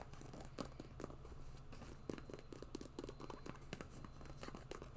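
A hollow, empty white quilted faux-leather boot with a fur cuff is held in one hand while long nails scratch and tap along its side. Soft crinkly scratching mixes with quick, dry taps that die away almost instantly, over a steady low hum.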